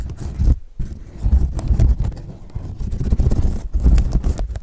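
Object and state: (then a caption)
Woven straw sun hat. The brim of a woven straw sun hat is folded and pinched while fingers rub and scratch the braided straw. The result is a dense, dry crackling and rustling that swells and fades in short bursts, with a muffled, low-heavy body and brief quiet gaps between handling strokes.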